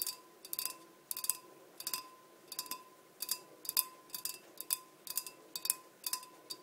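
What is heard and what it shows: Long nails tap the sides of a large, empty, clear glass blender jar with measurement markings, sitting on a black base. Quick clusters of bright, clicky glass taps come in short bursts with brief pauses between them, and each tap dies away almost instantly. A faint steady tone hums underneath throughout.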